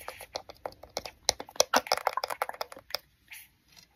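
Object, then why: Plastic compact digital camera body and lens ring. Fingertips and nails tap quickly on the lens ring and front of a small black plastic compact digital camera with a round lens barrel and hollow body, held in front of the microphone. The result is a rapid, uneven series of sharp, dry, hollow clicks with almost no ring, which thins out into a few softer taps at the end.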